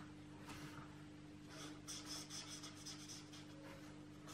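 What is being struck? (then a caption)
Felt-tip marker on a paper coloring book page. A felt-tip marker is stroked over a page of an open paperback coloring book lying on a table, while the other hand holds the book flat. Soft, bright scratchy rubbing strokes come in short bursts, with a steady low hum underneath.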